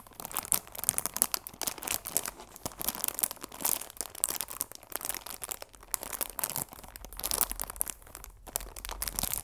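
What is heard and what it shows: A chamomile tea box of cardboard wrapped in clear plastic film is turned at an angle in the hands while fingertips and long nails rub and crinkle the film. The result is a steady run of dense, bright, crackly crinkles with small sharp peaks and no ringing tail.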